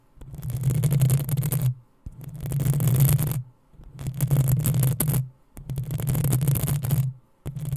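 Long acrylic nails of both hands scratch the hollow, rounded metal mesh grille of a black USB condenser microphone. Five rising bursts of rapid, rough scratching are heard, each with a deep, booming low rumble under a bright, crackling texture, separated by short silences.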